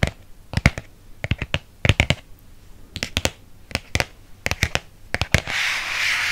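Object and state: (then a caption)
Hardcover book. Fingernails rub and scratch the cover and spine of a red hardcover paper book. Quick, sharp, bright scratches come in clusters over a faint low rumble. The clip ends in a steady, hissy rubbing sound.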